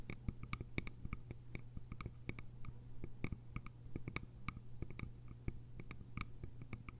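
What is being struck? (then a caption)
Small bamboo container with lid. Long nails tap and scratch the sides of a small, cylindrical, hollow bamboo container with a lid. The result is a quick, uneven run of dry, very short clicks with faint scratching between them. A steady low hum sits underneath throughout.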